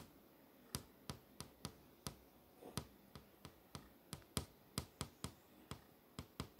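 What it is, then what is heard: LCD monitor screen tapped with a fingernail. A single fingertip with a long nail taps repeatedly on the surface of a flat LCD monitor screen showing a movie grid, striking the solid panel. Eighteen crisp, dry clicks at an uneven pace each cut off almost at once. They stand out over a quiet, steady low background hum.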